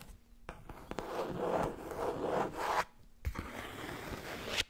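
Long red nails tap and scratch the cover of a thick, solid black cloth or leatherette hardcover book with gilded page edges, and a hand riffles the page edges. Two stretches of dry, papery rubbing and scratching, broken by a brief quiet gap, carry soft taps and a bright, zipper-like rasp.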